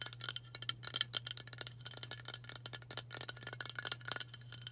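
Long nails tap quickly on the body of a hollow aluminium White Dove aerosol deodorant spray can. The result is a rapid, irregular stream of bright, tinny clicks with very short ring, over a faint steady low hum.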